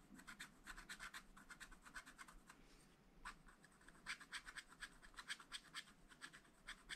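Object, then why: Wax-coated scratch-art paper page scratched with a wooden stylus. A wooden stylus scratches strawberry details into a black wax-coated scratch-art page in a small spiral-bound pad lying flat on a table. Quick, uneven bursts of dry, bright scraping repeat throughout, with a brief quieter pause near the middle.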